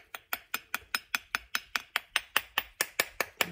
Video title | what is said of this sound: Make with me- Dragon Egg Bath Bombs - Romantasy | tap it and it sounds they're pretty well on there